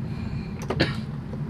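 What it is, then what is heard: Silver flute headjoint, dull with no ring. A silver flute headjoint is tapped, giving a few short, dull clicks over a low background hum. The taps die away almost at once with no ringing tone, unlike a gold headjoint.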